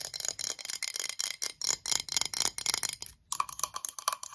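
Long yellow nails tap quickly on a clear, cylindrical, hollow VOSS glass bottle with a metal cap, held in the hands and apparently empty or nearly so. The result is a rapid, uneven run of bright, clicky glass taps with almost no ring, pausing briefly near the three-second mark. After the pause, the taps carry a faint mid-range tone.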